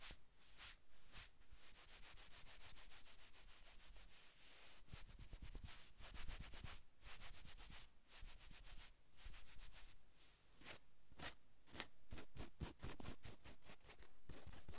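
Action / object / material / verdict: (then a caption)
scrape / cotton sweatshirt fabric / cotton / none. Flat palms and fingertips rub a navy cotton sweatshirt on a man's back, with light nail scratching across the fabric. A steady, soft brushing hiss runs throughout, broken by quick bright swishes and scratchy strokes that come faster toward the end.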